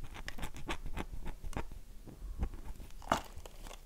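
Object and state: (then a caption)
Dry bar of soap. A dry, solid oval light-blue bar of soap with a heavily carved surface is held in both hands and scratched and tapped with long nails. Quick, soft, dry clicks and scraping taps patter along at a quiet level, with one brighter, sharper tap near the end.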